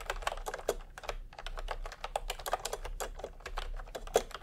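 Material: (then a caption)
Plastic. Fingertips of both hands type continuously on a full-size pastel typewriter-style keyboard with round plastic keycaps set in a hollow plastic case. The result is a quick, steady run of soft, dry plastic clicks and clacks with a hollow midrange tone and a bright tick on each keystroke, each sound dying away almost instantly.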